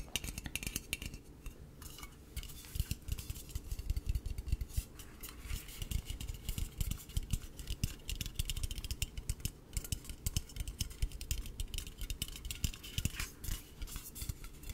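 A small, hollow, dark blue aluminum drink can labeled "Ocean" is held in both hands and tapped with fingertips and nails. Rapid, light, continuous taps produce short metallic clicks and ticks over a dull low thump, each sound dying away almost instantly.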